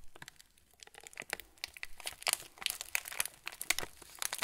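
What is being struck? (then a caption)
Cracker packet in plastic film wrapper. A full plastic-film TUC cracker packet is turned between the hands while fingertips press and rub the wrapper. The result is a dense run of bright, dry crinkles and sharp crackles with no ring, growing busier and louder after the first second.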